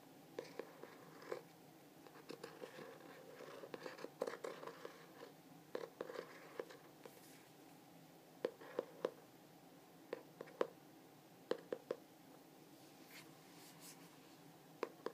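Fingertips and nails tap and scratch the front cover of a glossy hardcover journal with a Starry Night print. Quiet, sharp clicks with a hollow tone near 500 Hz land in irregular bursts, with soft scratchy brushing between them. Each tap dies away almost instantly.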